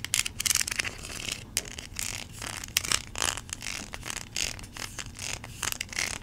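Long pink nails scratch the kernel ridges of a small yellow plastic corn cob toy. The result is a rapid series of dry, bright, crackly scrapes, with a high hiss, little low end and no ringing after each stroke.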